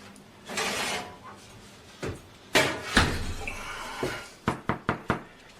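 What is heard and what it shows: A freshly baked semi-white bread loaf, just taken out of the oven, is knocked on and gives a hollow sound, meaning the bread is cooked. Scattered thuds and sharp knocks end in four quick, dull taps with little ring.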